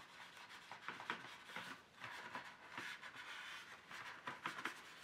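Fingers press a folded tissue into the slots of an empty, hollow, ridged black plastic paint tray insert and rub along them. The result is a quiet, dry scratching and rasping with brief brighter swipes peaking around 1.5 kHz, and very little low end.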